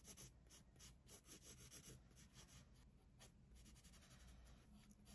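A pencil tip shades and scratches across the page of an open paper sketchbook resting on a wooden desk, in rapid strokes. It makes a quiet, dry, bright scratching hiss that rises and falls with each stroke over a low background rumble.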